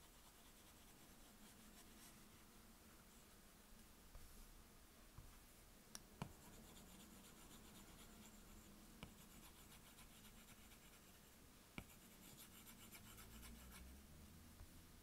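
A plastic Apple Pencil tip rubs over the glass touchscreen of an iPad in short coloring strokes, making a soft, steady scratching and rubbing sound. A few sharp, brief taps stand out against a quiet, low background hum.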